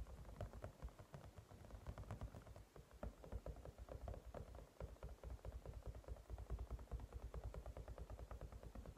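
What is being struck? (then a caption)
Silicone cat-shaped night light. Both hands quickly tap a hand-sized white cat-shaped silicone night light, a toy lamp with a matte silicone-like shell that is probably hollow, resting on a table, using fingertips and short nails before gripping its sides. The result is a rapid, uneven stream of soft, dull, low-pitched taps with short clicky edges and almost no ring.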